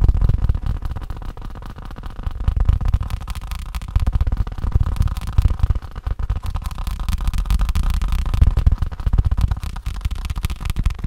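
A faux leather case is tapped rapidly with continuous fingertip-like taps, about four per second. The taps are dull, low thuds that die away almost instantly, with nearly all their energy below 200 Hz and no high ring.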